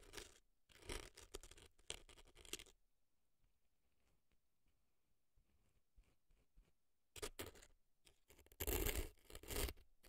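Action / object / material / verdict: scrape / dry floral foam packed in a silicone ear, scraped with an earpick / floral foam / none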